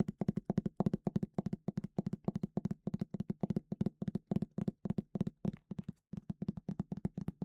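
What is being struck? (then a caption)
Leather-bound hardcover book cover. Rapid, fairly irregular tapping on the cover of a leather-bound Easton Press hardcover of Grimm's Complete Fairy Tales produces about forty short, dull thunks. The thunks are low and centered near 190 Hz, die away almost instantly, and pause briefly near the six-second mark. The leather binding gives the satisfying thunk a leather-bound book is expected to make.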